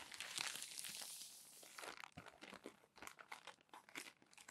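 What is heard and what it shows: Palms and fingertips smooth crumpled glossy magazine pages flat and turn them, making a steady bright papery swish for about two seconds. This gives way to a run of sharp, high crinkles and crackles that fade quickly between touches.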